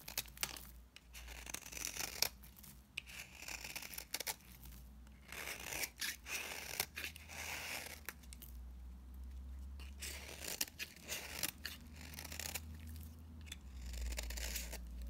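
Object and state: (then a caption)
Dry bar soap being shaved. A utility knife blade shaves dry, powdery flakes from a solid coral-orange bar of dry soap held in the hand. The audio is a run of bright, crisp scraping and crunching strokes with a faint scratchy tearing texture, separated by short pauses over a steady low hum.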